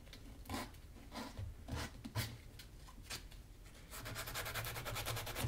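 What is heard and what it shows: A small piece of sandpaper rubs the leather sole edge of a black Magnanni double monk-strap leather shoe held by hand, and the shoe is then lifted to show its hollow interior and insole. Separate dry, scratchy sanding strokes with a bright hiss come at an uneven pace. In the last second and a half they turn into a faster, louder, continuous rasp.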